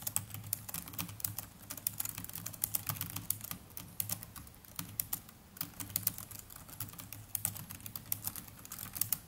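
Continuous typing with the fingertips of both hands on a small black netbook's plastic chiclet keyboard. Quick, dry, bright key clicks come in a steady, uneven flow over a low, constant hum.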